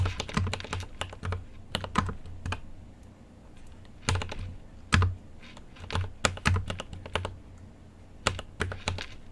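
Fingertips type on a mechanical keyboard with an aluminium case and plastic keycaps, producing bursts of sharp, clacky keystrokes separated by short pauses. Each press is a quick click with a bright top and a low thock underneath, and the pace speeds up and slows down irregularly.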